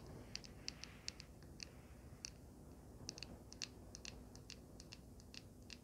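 Long painted nails tap and scratch a small, solid handheld vape mod with a swirled gold resin panel and a metal frame. An irregular run of short, bright, dry clicks sounds over a low, steady background rumble, each tick dying out almost instantly.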